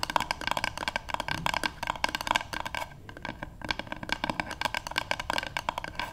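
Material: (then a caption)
Wood. Long nails and fingertips of both hands tap quickly on the flat back of a light, solid wooden paddle hairbrush lying on a table. The result is a dense run of short, dry, woody clicks with a hollow tone near 950 Hz and a bright edge from the nails, easing briefly around the middle before picking back up.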